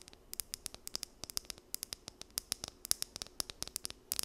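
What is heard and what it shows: Long nails scratch along the teeth of a small, solid blue plastic wide-tooth comb held in both hands. About 28 quick, dry, bright clicks and ticks come in an uneven patter over a faint hiss. Each one stops almost instantly with no ring.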